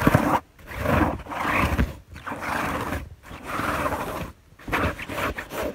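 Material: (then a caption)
Fabric. Fingertips with long nails scratch and rub across a white fabric bed sheet on a bed, heard up close. Five bursts of dry, broadband scratching and rustling are separated by brief silences, with a soft low rumble under the bright friction noise.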